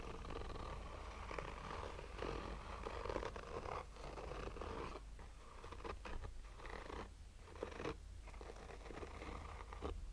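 Short fingernails slowly scratch a black oval sunglasses case with a textured fabric cover over a hollow, rigid hard shell. A soft, steady scratching rasp runs over a low rumble, with brief quieter gaps near the middle and toward the end.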